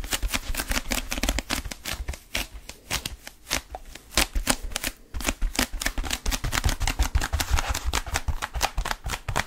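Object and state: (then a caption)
Foam roller. Fingertips grip, scratch and tap the textured surface of a blue foam roller. Rapid, dense crackling scratches and dull taps follow one another closely, bright and broadband over a low rumble, with brief pauses that give way to steady bursts.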